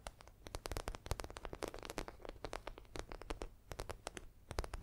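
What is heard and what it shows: Long nails scratch and tap across the croc-embossed surface of a medium red zippered makeup bag made of faux leather. A rapid, irregular stream of short, crisp clicks and scrapes sits over a low hum, each tick sharp and dry with almost no ring.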